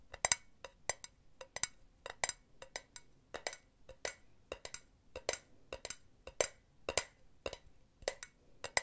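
Long nails tap and scratch the side of a silver, perforated metal mesh cylinder pen holder, hollow and empty, held in a hand. About 22 quick, quiet taps sound as bright, dry clicks with a faint metallic tinkle and almost no low end. Each tap dies away almost instantly, with light scratching between them.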